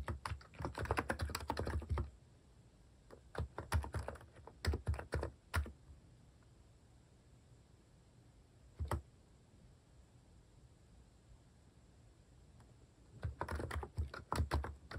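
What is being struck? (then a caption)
Plastic keycap keyboard. Fingertips type slowly on a plastic-keycap mechanical keyboard. Bursts of soft, low clicking keystrokes come at the start, around the 4–6 second mark, as a single isolated press near 9 seconds, and again at the end, separated by long quiet pauses.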